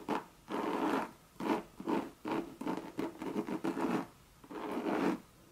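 Long red nails scratch the coated canvas side of a Louis Vuitton monogram bucket bag in a series of dry, rasping strokes. The scratches come in uneven bursts with short pauses between them, and their tone sits mostly in the low-mid to mid range.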